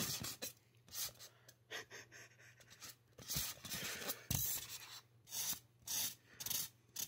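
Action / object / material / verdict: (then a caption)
scrape / polystyrene foam mannequin head / polystyrene foam / none. A gloved hand draws short hair strokes with a black marker across the scalp of a life-size, solid white polystyrene foam mannequin head. Each stroke makes a bright, rasping scratch on the foam, coming in irregular bursts with quiet gaps between them.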